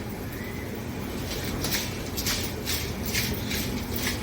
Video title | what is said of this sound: 3 प्रकारचे नमकीन कसे बनवायचे ते शिका -- 3 types of namkin in one video -- | mix करायचा आवाज बघा कसा खुळखुळ खुळखुळ आवाज येतो एकदम एकदम कुरकुरीत झालेली